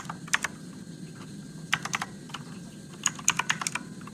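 Fingertips press the plastic keycaps of a Motospeed RGB-backlit mechanical keyboard with blue switches, typing in three short bursts. Each keystroke is a sharp, bright click that dies away almost instantly, over a faint low background hum.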